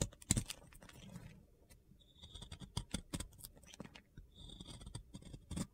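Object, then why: Round glitter-coated soap bar. A metal box cutter blade scrapes across a solid round soap coated in pink glitter, shaving off crumbly white chunks. Dry, crunchy scratches and sharp clicks come in irregular bursts, with a faint high whine in some passages and quiet pauses between strokes.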